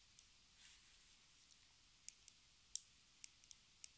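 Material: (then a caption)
Plastic. Long red acrylic nail tips tap a small, hollow, square pink plastic lipstick case held horizontally. Eight sharp, bright clicks land at uneven intervals over a quiet background, with a soft brushing swell near the start. Each tap is dry and stops almost instantly, with no ring.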